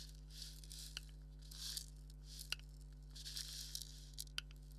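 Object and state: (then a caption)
Leather maraca head scratched. A thumbnail and fingernails scratch the hollow head of a black dotted leather maraca. Quiet, bright scratchy swishes come in bursts, punctuated by sharp little clicks, over a steady low hum throughout.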